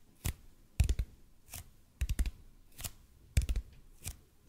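Fingertips slowly tap and scratch on a large, hollow, red-and-white EPP bead foam roller. Soft, dull low thuds with brief bright clicks come in irregular clusters, with short scratchy sweeps between them. Each tap dies away almost immediately.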